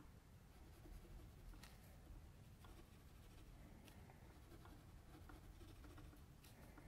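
A metal mechanical pencil tip scratches short shading strokes across the eye area of a sketch on a flat white sheet of drawing paper lying on a table. The faint, dry scratching comes in brief bright ticks over a steady low hum, staying quiet and even throughout.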